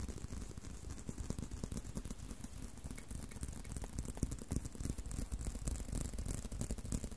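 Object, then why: Leather belt. Continuous tapping and scratching on a leather belt. Quick, dry, closely packed taps carry a deep, low thud under a faint bright scratchy hiss, at a fairly quiet and steady level throughout.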